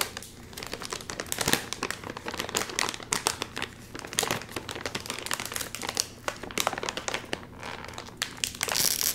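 A full, sealed red and white metallized plastic chip bag is held upright while fingertips crinkle it and pull at the top. Dense, bright crinkling and crackling runs throughout with very little low end, and louder bursts of crackle rise and fall, strongest near the end.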